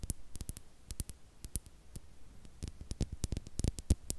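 A small, hollow, clear glass star-shaped bottle with a cork stopper, apparently empty, is held in the hands and tapped and scratched with long acrylic nails close to the microphone. Quick, irregular taps make sharp, bright clicks with brief low thumps, each dying away almost at once over a faint background hiss.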